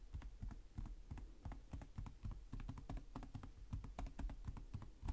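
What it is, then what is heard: Plastic laptop keyboard. One hand types with its fingertips in slow taps on the plastic chiclet keys of a black laptop with a hollow chassis. The result is a steady stream of short, dry clicks with a soft, low, hollow thud under each one and a faint bright tick on top.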